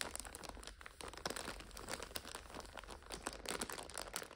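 Long fingernails press, scratch and crinkle the clear plastic overwrap on a full purple five-pack of instant noodles. The result is a steady stream of dry, bright crinkles and short crackling snaps with no ring, over a faint low rumble.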